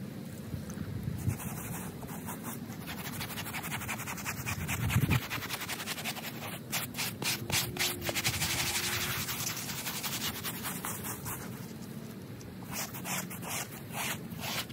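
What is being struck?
Polyester microfiber bath mat scrubbed with a plastic bristle brush.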